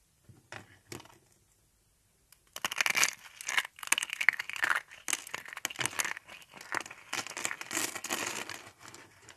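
Thin carved flower shapes of dry teal soap are squeezed and broken by hand. After a few faint crackles and a short silence, dense, bright crunching and crackling runs steadily to the end as the brittle soap snaps and crumbles apart.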